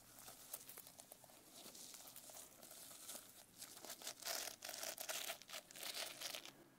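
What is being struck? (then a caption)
Notebook with plastic sequin fabric cover. Long nails scratch and tap the plastic sequin fabric cover of a closed notebook held upright. The sound is a bright, crinkly rustle with irregular sharp clicks and scraping bursts, mostly high-pitched with almost no low end.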